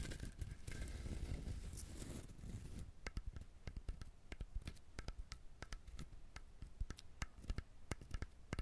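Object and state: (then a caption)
Husked coconut. Fingernails scratch across the shell of a whole brown husked coconut for about three seconds, making a dense, rough rasping. They then switch to tapping, giving a steady run of separate, sharp, bright clicks that fade almost instantly over a low rumble.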